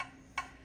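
A ceramic bonsai pot is tapped lower down, away from a chip, to compare its sound with the chipped spot. A single short, bright tap rings around 1 kHz and fades quickly. It thuds less than the chipped area, showing this part of the pot is sound.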